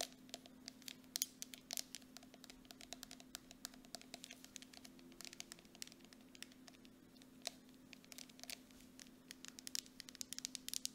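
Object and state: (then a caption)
Plastic cosmetic jar. Nail tips tap rapidly on the base and body of a grey plastic mud mask jar with a metal lid as it is turned on its side and set upright. The sound is a quiet, fast stream of short, bright clicks with no ring after each one, over a faint steady hum near 250 Hz.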